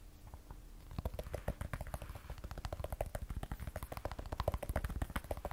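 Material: Glass.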